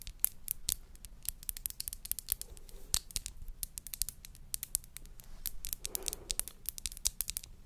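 Long nails tap and scratch a tall, narrow, hollow clear glass bud vase with a dark base. A quiet, rapid run of sharp, bright clicks with no ring is broken by soft scratchy swishes around the third and sixth seconds, over a faint low rumble.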